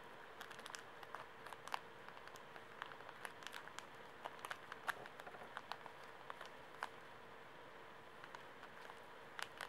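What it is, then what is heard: Plastic-wrapped pocket tissue pack. A full, small Kleenex pocket tissue pack in plastic film is held in both hands while fingertips and nails crinkle, squeeze and scratch it. Quiet, sharp crackles and brief bright crinkles come in quick irregular bursts, with each snap dying away almost instantly over a faint steady hum.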